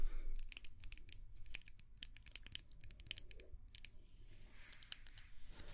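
A small white glass candle jar is tapped with long nails while held close to the microphone. A rapid, irregular series of short, bright clicks and light scratches comes over a low, steady rumble, each tap dying away almost instantly.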